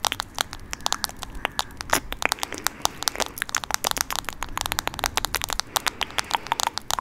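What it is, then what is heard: Smartphone in plastic case, tapped with nails. Long nails tap and scratch a smartphone in a teal plastic case held close to the mic. A rapid, uneven stream of sharp, bright plastic clicks and crackling scratches runs throughout. Each click dies away almost at once, with very little low end.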